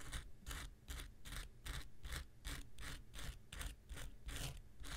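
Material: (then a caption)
Foam. The tip of an X-Acto knife scratches across a small, solid, rectangular pink foam nail buffer block with a gritty surface, held in one hand. Quick, gritty scraping strokes repeat in a loose rhythm, each a bright hissing burst over a steady low rumble.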